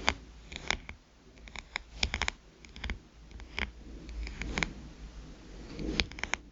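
Long nails tap and scratch the glass screen of a small black smartphone lying face up. Sharp, bright clicks come in irregular bursts, with soft, hissy scratching in between, over a faint steady low hum.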